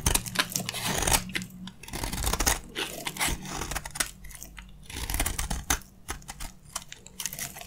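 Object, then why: Soap bar scraped by a metal blade. A metal utility blade shaves and scrapes crunchy curls from the surface of a solid, dry green soap bar held in the hand. Dense, bright crackling and tearing scrapes come in quick bursts, louder in the first two seconds and around the middle, with a faint steady low hum underneath.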